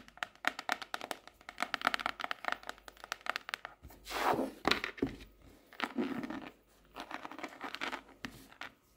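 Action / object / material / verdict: tap / paper hardcover notebook / cardboard / none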